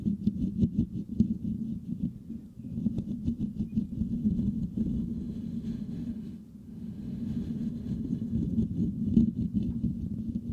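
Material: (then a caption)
Metal mesh. The fingertips of both hands scratch the rounded, hollow metal mesh grille of a white microphone. The result is a dense, continuous, muffled scratching and rustling that sits low with a boomy hum near 230 Hz, plus faint crackly high ticks. The scratching eases briefly partway through, then picks back up.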